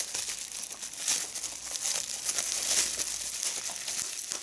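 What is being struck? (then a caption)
Plastic bubble wrap. A small piece of clear plastic bubble wrap is held in both hands while fingertips and long red-painted nails squeeze and pop its air bubbles, with a larger bubble wrap sheet lying still on the table. The sound is a steady, bright crinkling of plastic, with sharp, quick pops scattered through it and almost no low end.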